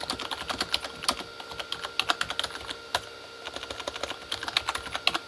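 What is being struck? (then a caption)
Plastic keyboard with plastic keycaps. Both hands type with their fingertips on a full-size Corsair K35 backlit keyboard with plastic keycaps on a hollow plastic body. The result is a rapid, uneven run of short, bright, clicky taps that die away almost instantly, with almost no low end.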